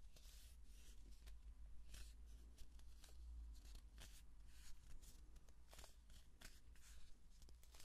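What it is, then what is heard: Cardboard tube. A long, hollow kraft-paper cardboard tube is held upright in both hands while fingertips and palms rub and scratch along its surface. It makes soft, dry, papery scratching in quick bright bursts. The strokes sit over a steady low hum and fade almost instantly.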